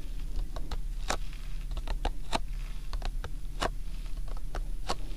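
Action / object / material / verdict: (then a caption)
tap / printed cardboard tea box / cardboard / none. Fingertips tap and scratch the front face of a printed cardboard Lipton tea box, hollow and likely full, standing upright on a binaural microphone. Sharp, bright clicks and soft scratches sit over a steady low hum, and at the end hands grip the box's top edge.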